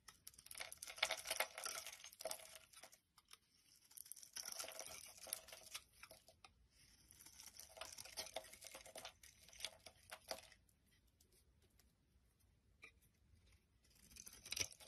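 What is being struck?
Bar of soap.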